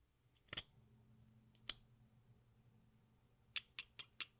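An exacto knife blade scrapes and shaves the red surface of a small solid watermelon-slice piece of sidewalk chalk held over a pink bowl, and red and green chalk dust collects in the bowl. Six short, bright, crisp scrapes are heard, two spaced apart early and four in quick succession at the end, over a quiet low hum.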